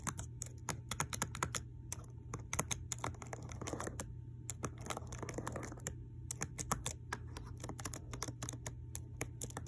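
Long clear acrylic nails with a white floral design tap and click the plastic keycaps on the number row and letter keys of a black laptop keyboard with a solid deck. The result is a brisk, uneven stream of short, dry, bright clicks with almost no ring, over a steady low hum.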